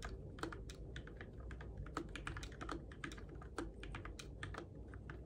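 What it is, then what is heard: Plastic mechanical keyboard. Fingertips type on the plastic keycaps of a Keychron K6 compact RGB-backlit mechanical keyboard in the dark. A steady run of quick, bright clacks with short, dry decay plays over a low background rumble, with a few keystrokes landing louder than the rest.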